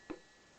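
A single strike on the free metal bell gong of an old SOCOTEL S63 telephone, with nothing touching or rubbing on it. It gives one quick, clear ting centred around 340 Hz that fades fast, leaving a faint, steady tone underneath. The ring is clean, as a free bell should sound.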